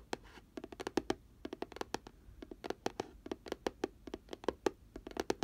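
Fingernails of both hands tap and scratch along the rim edge of an open, hollow, pink glitter-coated round cardboard box. Twenty-nine quick, dry clicks come in uneven bursts, each with a short hollow mid-pitched tone that dies away almost at once, with light scratching between them.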